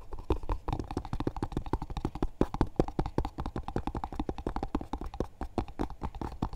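Fingertips and short nails quickly tap and scratch the lid of a small, hollow, rectangular cardboard box covered in dark grey textured paper with a yellow JCB label. The result is a rapid, irregular stream of short, dry, hollow thuds, weighted toward the low end with a muted, boxy tone and light scratchy texture between the taps.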